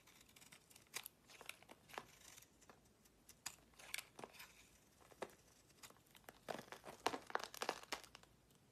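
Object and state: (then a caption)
Soap bar being scraped. A utility-knife blade scrapes curls off the surface of a solid purple marbled soap bar held in the hand, with shavings around it. Quiet, irregular, dry scraping strokes come in short bright bursts with crisp edges, growing denser and louder toward the end.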